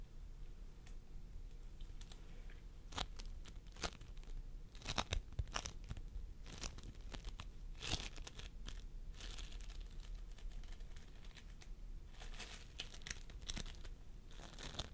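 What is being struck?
Floam sculpting foam with polystyrene beads.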